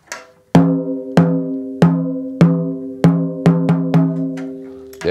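A wooden drumstick taps repeatedly on the white coated Evans head of a 6.5 x 14-inch, 8-lug snare drum with a hollow chrome metal shell, possibly catching the rim at times. Each stroke gives a sharp crack that settles into a short tonal ring around 170 Hz with higher overtones, fading within about a third of a second. The hits come at an uneven, moderate pace.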